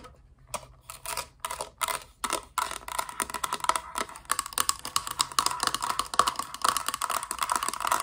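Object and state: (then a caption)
Plastic toy playset. A hollow, thin-walled hard-plastic Littlest Pet Shop playset piece with blue walls, an orange roof and a yellow base is held in the hands and tapped and scratched with long dark nails. A few sparse, sharp clicks open the clip, then build into a rapid, dense run of light, bright plastic taps and scratchy rustles centered around 1.1 kHz. Each tap dies away almost instantly with no ring.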